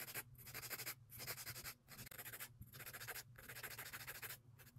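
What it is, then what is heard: Acrylic nails being filed with an emery board. Long acrylic nail extensions have their sides and tips filed with a grey emery board held in a gloved hand. Bursts of bright, raspy scratching sweep back and forth in a steady rhythm, separated by brief pauses, over a faint low hum.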